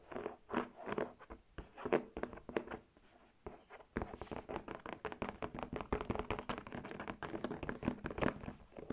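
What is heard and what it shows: Long red nails tap and scratch the front panel, the embossed Polo tag and the straps of a brown faux leather tote bag. Quick, dry taps and crunchy scratches sit mostly in the mids, with little deep or bright content. They come in scattered bursts with a short pause, then turn into a dense, fast, continuous run.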